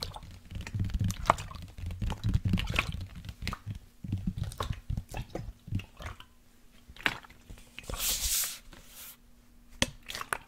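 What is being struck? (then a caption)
Plastic sports water bottle with liquid inside. Fingertips and nails tap a large, hollow black plastic sports water bottle with a blue cap that holds liquid, while it is tilted or shaken. The taps come in quick, irregular bursts of soft low thumps and sharp clicks, with a faint steady low hum underneath. Around the eighth second, a brief bright hissing swish of moving liquid rises before the scattered tapping resumes.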